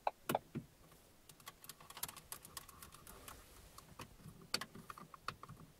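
Both hands tap and scratch the large, solid, fixed hard plastic center console of a parked car, with its buttons and air vents, using long manicured nails and fingertips. Quick, irregular, dry clicking taps with bright edges and no ring, along with soft scratching between them, stay fairly quiet throughout.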